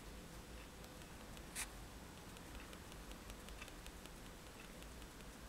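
The metal tip of a fine-liner pen, held in the fingertips, repeatedly taps dots into a white paper page of a spiral sketchbook lying flat on a table. Faint, soft, bright ticks sound over a low, steady background hum, with one noticeably louder tap near the middle.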